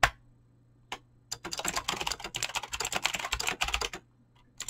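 Fingertips type fast on a Razer BlackWidow mechanical keyboard with clicky green switches and pink-blue dyed PBT plastic keycaps. A couple of lone keystrokes lead into a rapid, continuous run of crisp, bright clicks over a faint low hum. The burst ends with a final single click.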